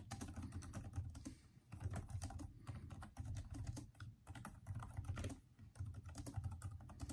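Both hands type with their fingertips on the backlit plastic keyboard of a Microsoft Surface-type laptop, its hollow keys giving a steady stream of quick, soft taps. The clicks are dull and low, with brief lulls between bursts of typing.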